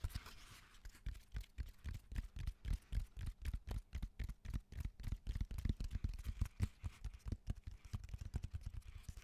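Fingertips and nails tap quickly across the textured surface of a raw cork oak bark slab held vertically. The result is a rapid, uneven stream of soft, dull, low thuds with brief bright clicking edges, each dying away almost at once.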